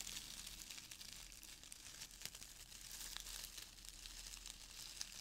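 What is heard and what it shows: Fingers rub, squeeze and stir brown crinkle-cut shredded paper filler in a small open cardboard box. The result is a soft, steady, bright crinkling and rustling, dotted with brief sharp crackles and a faint low hum underneath.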